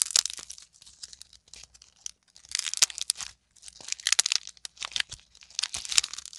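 A solid lump of green and teal modeling clay, made from squashed clay balls, is crushed and kneaded between both hands with long nails. It gives bright, crackling, crunchy tearing sounds in several dense bursts separated by short pauses, with almost no low end.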